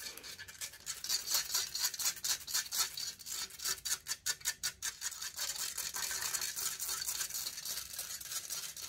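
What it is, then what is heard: Metal microphone grille. Long fingernails scratch rapidly across the hollow metal mesh grille of a silver condenser microphone held in hand. The result is a dense, bright, hissing scrape with almost no low end, made up of quick rhythmic strokes that grow into a more continuous rasp toward the end.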